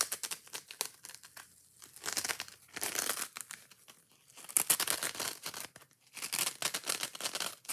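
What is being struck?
Foam kitchen sponge with green scouring pad.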